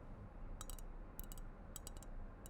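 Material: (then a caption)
Ceramic. A ceramic sloth figurine container that can hold things is tapped lightly in quick little clusters. The taps are short, bright clinks over a steady low background rumble.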